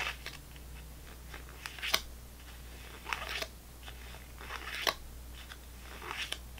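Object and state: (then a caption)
Plastic gum pack with foil-wrapped sticks. Fingernails tap the foil tops of foil-wrapped gum sticks sitting in a clear plastic gum tray. The crisp, bright clicks come in an uneven rhythm, with some of the sharper hits standing clearly apart, over a low steady hum.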